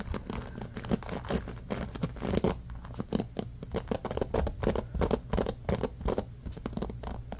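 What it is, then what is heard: Bamboo paddle hairbrush scratched. Fingertips scratch aggressively through the wooden-tipped pins of a small bamboo paddle hairbrush with a black rubber cushion, resting on a blanket. The result is a fast, continuous stream of dense, dry scratching and rustling with a soft, muffled, low-weighted tone.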